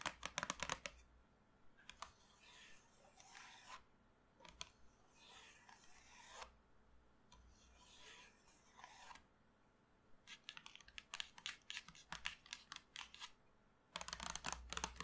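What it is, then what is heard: Cardboard chalk box. Long nails and fingertips scratch and tap across the lid of a small printed cardboard box full of colored chalk sticks resting on a table. Quick bursts of sharp, dry clicking taps open and close the clip, with slower, bright rasping scratch sweeps in between, all with almost no ring.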